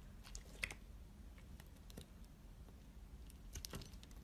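A metal box-cutter blade slices and scrapes thin curls off a solid, hand-sized bar of purple and pink striped soap held in a hand with long nails. Soft, crisp ticks and short scratchy scrapes sound at irregular intervals over a steady low background hum. Each tick is bright and dies away almost instantly.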